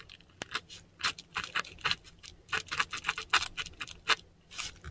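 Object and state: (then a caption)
Pen nib scratching textured paper. A metal dip pen nib scratches across a flat sheet of textured Korean paper, close up, writing Japanese characters in ink. A quick series of short, dry, bright scratching strokes comes with brief pauses between them. The strokes are quiet and crisp, with almost no low end.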